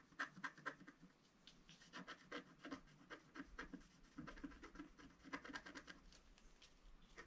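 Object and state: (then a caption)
Scratch art paper being scratched. A wooden stylus tip scratches around gift-box lines on a flat black sheet of wax-coated scratch art paper lying on a table. The sound is a series of short, dry, crisp scratching strokes with a bright papery rasp, some sharper at the start and near the middle, over a quiet background.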